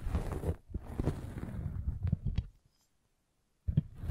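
A metal-spiked derma roller is rolled over a red velvet bag covering a microphone, making a low, muffled rolling rustle with soft thumps. The sound stops briefly into near silence, then the rolling starts again.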